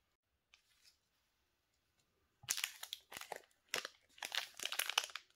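A small, solid Nivea soap bar in a sealed white and blue plastic wrapper is picked up and turned in black-gloved hands, crinkling and rubbing the wrapper. After a couple of faint rustles and a quiet pause, bright, crisp plastic crinkling comes in several dense bursts.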